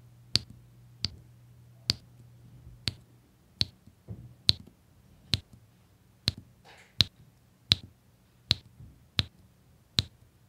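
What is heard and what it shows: A plastic drill pen taps small solid beige resin diamond painting drills, one after another, onto a flat adhesive grid canvas. Thirteen sharp, bright clicks ring out at a steady pace, each dying almost instantly, over a faint low hum.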